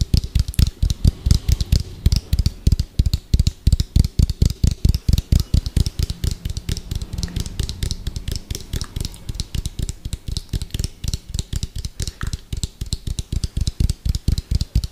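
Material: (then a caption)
Plastic. Fingertips and nails tap fast on the side of an orange, hollow, round plastic food container with a white lid, held beside the mic. The result is a rapid, uneven stream of short, dull knocks, deep and thumpy with a faint bright click on top, each dying away almost instantly.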